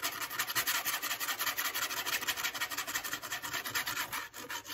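Long acrylic fake nails scratch along the fluted edge and face of a flat brown corrugated cardboard piece held by its edge. The result is a dry, raspy, bright rubbing sound made of rapid, uneven strokes that continue steadily, with almost no low end.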